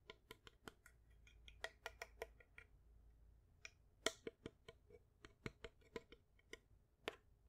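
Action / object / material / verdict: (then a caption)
tap / small wooden picture frame with glass front / wood and glass / none. Long white acrylic nails tap and scratch a small wooden picture frame, held in both hands, with a fruit painting behind glass. Roughly twenty sharp, bright, dry clicks come in an irregular rhythm with almost no ring. Faint scratching fills the gaps between them.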